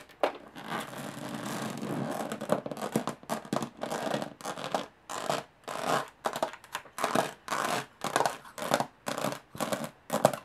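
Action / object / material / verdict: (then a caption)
scrape / hollow aluminum carry case / aluminum / none. Long nails scratch and tap the textured lid of a closed, hollow aluminum carry case. A steady, dense scratching in the first two seconds gives way to a series of short, separated raspy strokes with light taps. The strokes have a bright, dry metallic grain and no lingering ring.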